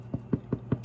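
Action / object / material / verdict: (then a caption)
knock / ciabatta bread loaf / bread / hollow. A small ciabatta loaf, fresh from the oven and lifted in a towel, is knocked on its bottom four times, giving short, dull, low thuds. The hollow sound shows the bread is baked through; these small loaves finished quickly.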